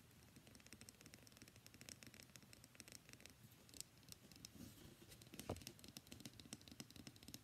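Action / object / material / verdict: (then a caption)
scrape / bar of soap / soap / none. Fingernails scratch and rub across the surface and edges of a solid, palm-sized, cream-white bar of soap with embossed text. The result is a quiet, continuous run of dry, crackly scratching with rapid fine ticks and a bright hiss. A slightly louder, sharper scrape stands out near the middle of the clip.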